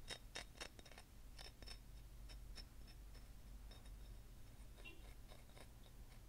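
Long fingernails tap rapidly along the surface of a long, solid white selenite crystal wand, producing light, dry ticking taps with a bright, short click and almost no ring. The taps come quickly but unevenly over a steady low hum.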